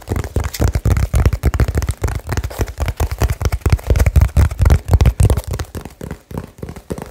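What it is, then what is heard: Cardboard box. Fingertips tap quickly and aggressively on a small hollow cardboard box wrapped with blue tape. The result is a rapid, uneven stream of short, dry, deep thumps with almost no ring or brightness.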